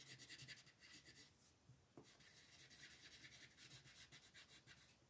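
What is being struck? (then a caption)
Wooden colored pencil on a printed paper page over a wooden table. A yellow wooden colored pencil rubs back and forth across a printed paper mandala coloring page lying flat on a wooden table, coloring the center. It makes quiet, bright, scratchy strokes in a steady rhythm, with a brief lull near the middle.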